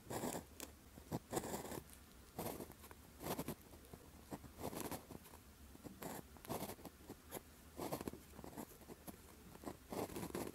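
The tip of a clear plastic gel pen with a blue grip scratches short strokes across a thin paper calligraphy practice sheet with a red grid while writing Chinese characters. Quiet, brief scratchy bursts come in an uneven rhythm with faint pauses between them. Each stroke has a dry, papery rasp.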